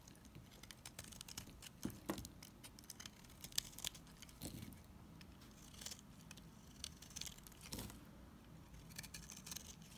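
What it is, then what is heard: Bar soap scraped with a knife blade. A solid blue NIVEA bar soap held in the hand is scraped with a utility knife blade, peeling off curled shavings. Quiet, dry, crisp scraping strokes come in quick irregular bursts, bright and scratchy with a soft low rustle beneath. A few louder scrapes stand out along the way.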